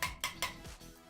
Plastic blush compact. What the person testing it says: you can hear how cheap the packaging is